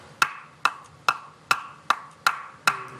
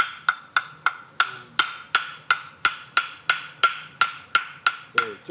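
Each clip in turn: First: Seven short, evenly spaced knocks on a firewood log; a brief, dull thud marks it as wet, undried wood. Second: A steady run of bright, clacking knocks with a clear tone near 1.4 kHz: a well-dried firewood log.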